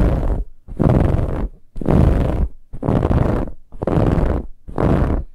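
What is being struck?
Fabric-covered pillow.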